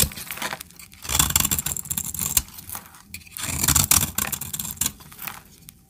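A knife blade scrapes curls and flakes off a solid brown bar of dry soap held in the hand. Bright, crackly scraping comes in uneven bursts, with soft low rumbles and short quiet gaps between strokes.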